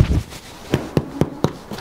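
A bread loaf, just taken out after 30 minutes in a wood-fired oven, is tapped five times, giving short, dull, low hollow knocks with almost no ring. The hollow sound shows the loaf is cooked on the bottom and top and the bread is ready.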